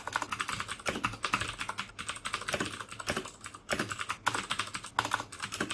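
Fingertips type steadily on the keycaps of a black plastic mechanical keyboard with clicky Cherry MX Blue switches. The result is a rapid, uneven stream of sharp, bright clicks with very short decay and little low end, with a brief lull before the typing picks up again.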